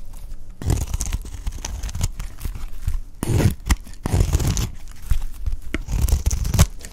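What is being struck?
Bar of soap shaved with a knife blade.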